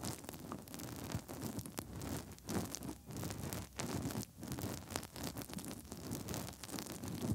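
Fingertips rub inside the hollow ear canals of the soft silicone ears on both sides of a 3Dio binaural microphone with fast, scratchy movements. The result is a continuous, close rustling and scratching texture with bright crackle over a heavy low rumble from the contact.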